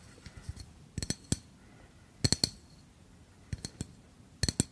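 A tall, hollow yellow metal gas refill can with a red cap is held upright and tapped with fingernails. Faint taps give way to four quick bursts of three clinking metallic taps, each with a short, bright ring.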